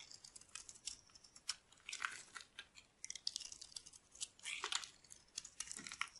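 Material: Soap.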